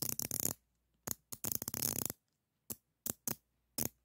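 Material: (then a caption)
Steel. A black-handled screwdriver with a metal shaft scratches and taps the jaw of a solid chrome steel adjustable wrench held in one hand. Bursts of bright, dry metallic scraping alternate with short, sharp clicks that die away almost at once, leaving near silence between them.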